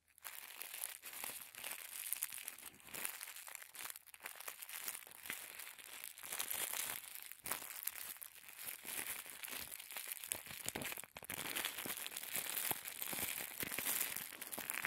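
A small folded packet of thin white tissue paper is crinkled and refolded by fingertips. The result is a steady, dense stream of bright, crisp crackles and rustles with almost no low end, and the sound rises and falls slightly as the paper is handled.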